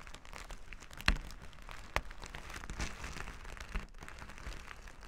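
Flat plastic sequin fabric lying on a table is scrubbed back and forth with plastic finger-massager tools held in both hands. The result is a continuous dry, crinkly scratching texture with a few sharper clicks standing out.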